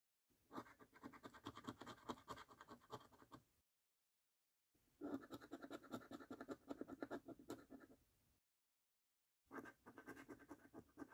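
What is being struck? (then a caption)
Paper scratch card with scratch-off coating. A coin scratches the remaining scratch-off coating from the number circles in the games section of a thin paper lottery scratch card held down by a fingertip. Three bursts of quick, uneven, raspy scraping strokes are separated by short silences.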